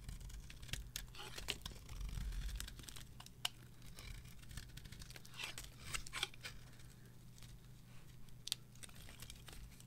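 A metal knife carves thin slices and shavings off a solid, varnished, dry green bar of soap held in the hand. The result is a quiet run of crisp, bright scraping and crackling bursts with occasional sharper snaps, over a steady low hum.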